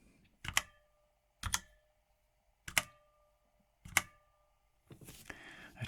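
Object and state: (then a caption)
Mechanical keyboard with pinging metal case. Four separate keystrokes on a Redragon K556 full-size mechanical keyboard with a brushed aluminum chassis, each a sharp clack followed by a thin metallic ring that lingers briefly. The board shows case ping, resonating after every keystroke because of its metal build, and a stretch of rustling handling noise follows at the end.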